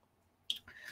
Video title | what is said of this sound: Artist Life: DecoArt Supplies Unboxing #DecoArtMaker | you hear it sounds like glass ceramic